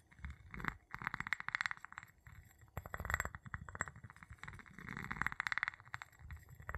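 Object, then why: Glass jar tapped with a wooden pestle. An empty clear glass jar with a gold metal lid, held in the palm, is tapped and rubbed on its glass bottom with the tip of a wooden pestle. Quick, bright clinking taps come in clustered bursts with short ringing around 2 kHz, mixed with soft scraping and low rubbing sounds between them.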